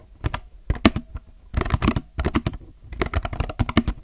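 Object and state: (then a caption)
Plastic mechanical keyboard being typed on. Both hands type with their fingertips on a compact mechanical keyboard with plastic keycaps. The result is bursts of quick, short clicks and clacks with a deep thocky body and crisp bright edges, separated by brief pauses.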